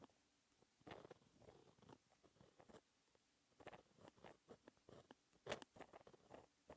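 A hand-held white-ink fine-tip pen scratches across a flat, textured black paper sheet, writing equations in continuous strokes and dots. The result is a series of quiet, dry, scratchy bursts with brief taps and short pauses between them, including a longer silent gap midway.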